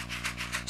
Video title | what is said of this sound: Spontaneity | You hear those beads? Those are actually pellets of ammonium chloride.